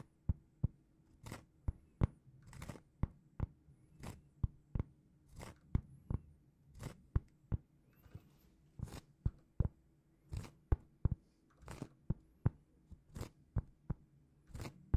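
A large, solid, flat round cork trivet, held in both hands, is scratched with long painted fingernails, making a steady run of short, dry, crackling scrapes. Some strokes are quick sharp flicks and others slightly longer rasps that reach bright highs. A faint low hum sits underneath throughout.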